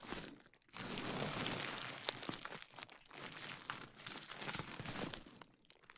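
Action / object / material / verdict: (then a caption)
scrape / plastic bubble wrap / plastic / none. A large sheet of clear plastic bubble wrap draped over a dummy head microphone is scratched and squeezed by fingertips and long nails, popping bubbles and then crumpled. The result is dense, bright crinkling and crackling with sharp little pops and brief quiet gaps.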